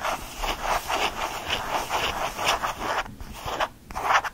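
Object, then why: Small faux leather change purse. A small lilac faux leather change purse is scratched with fingernails and squeezed in the hand. Rapid, dry scratching and rubbing strokes repeat in quick succession, centered in the mid range with some bright edge. Two brief quieter gaps come near the end before a final louder burst of scratching.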